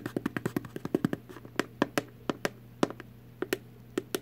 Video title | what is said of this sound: ASMR ~ Tapping, Tapping, Tapping | it's just an empty little box